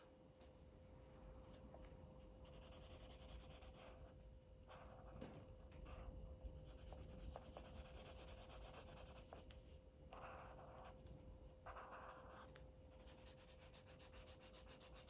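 A felt-tip marker rubs and scratches in short strokes across a thin white paper coloring book page held down by one hand while coloring. The sound is a soft, dry scratching with bursts of brighter rasp, over a low rumble and a faint steady hum.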